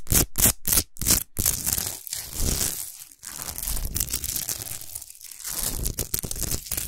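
Long nails scratch the top and sides of a tall, solid Himalayan rock salt lamp while hands grip its lower part. A few quick, separate rasping strokes open the clip, then give way to dense, continuous gritty scraping and crunching with bright, hissy highs over a rough low rumble.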